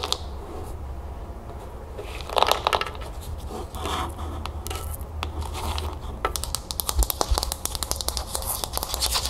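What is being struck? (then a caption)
Plastic bowl partly filled with puffed cereal. A small, hollow teal plastic bowl partly filled with puffed cereal is held and tilted, then its outer side is scratched and tapped with long acrylic nails. Soft, dry scratching and a brief rustle of shifting cereal come first. Quick, sharp, clicky taps follow, with no ring, over a steady low background hum.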